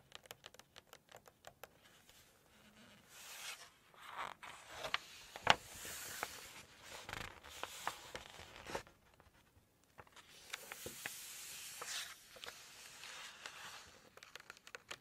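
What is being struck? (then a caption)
Glossy paper cookbook page. Long nails tap quickly on a glossy photo page of a Chinese cookbook, making a run of sharp, bright ticks on the paper. Then the page is turned with soft, airy rustles and swishes that come in two longer waves. The level stays quiet throughout, with a few louder crisp snaps.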